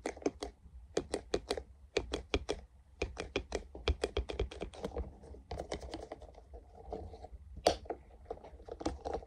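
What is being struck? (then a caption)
Soft silicone funnel cup. A small, translucent, soft silicone funnel cup, hollow and empty, is held close and tapped with fingertips in quick, irregular runs. Each tap is a short, dry click with a bright edge that dies away almost instantly, over a faint low rumble and soft rustling between bursts.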